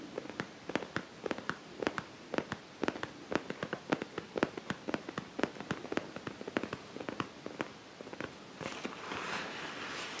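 A medium-sized, soft-sided zippered makeup pouch made of iridescent holographic vinyl or plastic with black polka dots, hollow and seemingly padded, is held in both hands and scratched and squeezed with fingertips and nails. It gives a quick run of short, sharp crinkly crackles, and near the end these blend into a softer, continuous rustling hiss.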